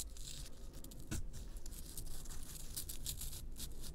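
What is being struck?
Pressed baking-soda bath bomb scraped with fingernails.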